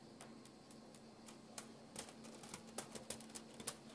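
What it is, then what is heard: Dry spaghetti strands. Fingertips tap, rub and scratch over uncooked dry spaghetti strands spread flat on a white counter. Sharp, dry, bright clicks and crackles come at an uneven pace over a faint low hum, with the strongest taps near the end.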